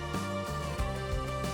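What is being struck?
Nothing is struck.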